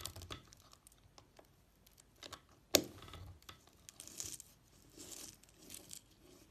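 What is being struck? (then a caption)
Bar of soap scraped with a knife blade. A red-handled utility knife scores and slices thin strips from one end of a solid pink Palmolive bar of soap held on a white table, scraping the soap. Quiet, bright, dry scraping and crisp crackling come in short bursts, with one sharp, louder snap of a cut partway through.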